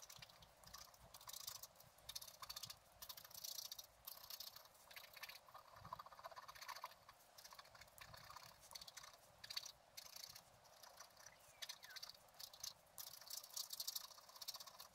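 A wooden stylus scratches the black wax coating off a gate design on a flat scratch-art card, held down by the other hand. The result is quiet, bright, dry scratching that comes in short bursts of strokes with almost no low end.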